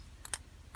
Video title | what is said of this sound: Honda HRH536 Lawn Mower ( Stored for 2+ Years) Does it Start ? or Carb Clean Needed ? 🤔 | I'll give it the rattle test. Check that the float isn't stuck. You can hear that it's moving.